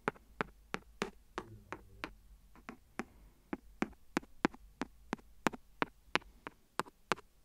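The end of a clear plastic pen taps and scratches the rim of an empty, hollow, thin clear silicone phone case lying flat on the recorder. About 21 sharp, dry ticks with almost no ring are heard, with brief scratchy rubbing between some taps. A faint low hum sits underneath.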